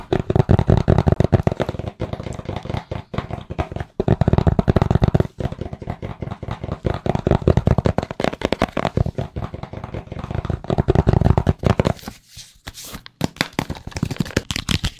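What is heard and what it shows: Fingertips tap rapidly on a small, hollow, rigid white cardboard phone box with a logo, held in both hands. The taps are dense, dull, low-pitched thuds that die away almost instantly, with brief pauses near 2, 4 and 5 seconds and a quieter stretch around 12 to 13 seconds before the tapping picks up again.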